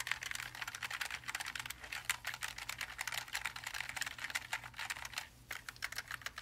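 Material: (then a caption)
Plastic. Two gloved hands type rapidly on the plastic keycaps of a Logitech G915 TKL linear keyboard, a backlit black low-profile mechanical keyboard of plastic and aluminium lying flat. A fast, dense run of short, bright clacking keystrokes plays over a faint low hum, with a brief lull just past five seconds before the typing resumes.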